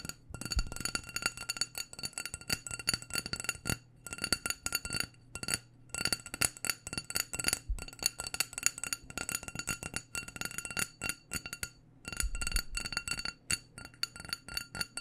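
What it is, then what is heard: Glass candle jar. A small black glass candle jar with a white label, filled with wax, is tapped rapidly with the long dark nails of both hands. The taps are quick, bright clicks with a short glassy tick, coming in dense bursts broken by brief pauses, with occasional soft low thumps underneath.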